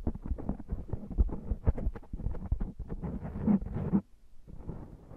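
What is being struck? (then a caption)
Foam microphone windscreen. Both hands cup a black foam microphone windscreen, rubbing, squeezing and massaging it with the fingertips. This makes a dense, muffled, low rumbling with rapid scratchy crackles, swelling louder until it suddenly drops off at about four seconds. Softer rubbing then resumes.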